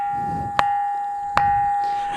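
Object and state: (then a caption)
Ringing rock (resonant basalt). A black basalt boulder on a rocky hill in Nirmal district, Telangana, is tapped twice with another small stone, giving two sharp clicks that each ring into a clear, sustained bell-like metallic tone around 810 Hz. The ringing carries across the gaps between taps and is attributed to the density of silica and iron oxide in the rock, which rings wherever it is struck, unlike ordinary rocks that make no such sound.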